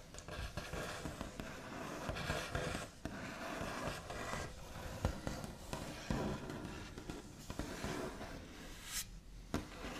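The backs of long nails tap and trace across a solid, flat, white-finished wooden tabletop. A steady stream of soft, scratchy taps mixes with dull low knocks and dry scraping, with a few sharper clicks standing out. The sound stays quiet throughout.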